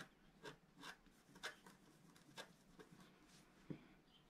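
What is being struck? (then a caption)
Black-coated scratch-art card scraped with a wooden stylus. A wooden scratching stylus scrapes the coating off a flat, black-coated scratch-art card, about A4 in size, that lies on a table and is held down by one hand. Several short, dry strokes each give a brief, bright rasp over quiet background hiss. The final stroke lands with a duller, lower tap.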